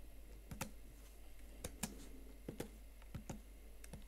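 Chiclet plastic keys on a slim Huawei MateBook X Pro laptop keyboard, set in a blue metal body, are tapped by fingertips and nails, first with single fingers and then with both hands. Sharp, bright clicks come in uneven bursts over a steady low hum, each one dying away almost at once.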